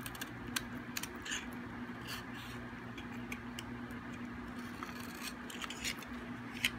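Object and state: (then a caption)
Hard, dry bar soap being shaved. The edge of a solid, hard, dry white bar of soap is shaved with a metal blade, and the flakes pile up. Quiet, bright, crisp scraping and crackling clicks come in short bursts over a steady low hum.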